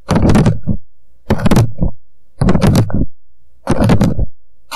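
An empty, hollow paper coffee cup sits upside down on a microphone while both hands tap its walls quickly with the fingertips. The tapping comes in four dense bursts of hollow, low thumping with short gaps between them.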